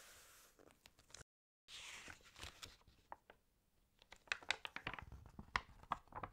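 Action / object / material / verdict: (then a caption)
scrape / glossy paper magazine / glossy paper / none. Long painted nails flip the pages of an open glossy fashion magazine with water-damaged paper, and fingertips rub across the sheets. Soft, bright crinkles and papery rustles come in irregular bursts, with a brief silent gap early on and sharper crisp snaps toward the end.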